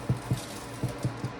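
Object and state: Nothing is struck.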